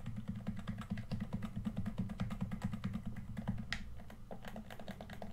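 Fingertips tap the sticks and hollow shell of a red plastic PS4 controller, then click its buttons. The result is a quick, uneven run of short, dry taps and clicks with a low, hollow body and almost no ring after each one.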